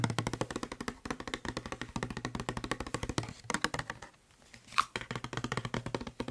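Fingertips and nails tap fast on the body of a hollow blue plastic Febreze spray bottle held close to the microphone. The result is a rapid run of short, dry, hollow clicks with a low thump underneath and a bright edge. The tapping stops for about half a second near the end, a single sharper tap follows, and then the fast patter resumes.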